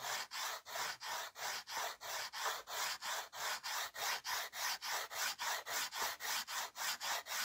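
A white slate pencil held in the fingertips rubs and scratches across a small, flat, framed slate board, leaving white powder behind. There are 23 quick, steady rubbing strokes, each a bright, dry, raspy scrape with brief gaps between them and no low end.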